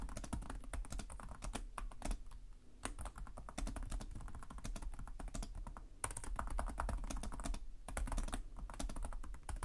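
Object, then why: Plastic laptop keyboard. Both hands type with their fingertips on the plastic chiclet keys of a black laptop keyboard, producing a rapid, steady stream of short, dry clicks and soft low thumps that die away almost instantly. The typing slackens briefly around the two-second and six-second marks, then resumes at the same brisk pace.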